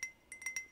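Four light, bright clinking taps on a handmade ceramic pottery mug bought at a pottery workshop, each a short high ring that fades quickly. The clinks are quiet and thin, with almost no low end.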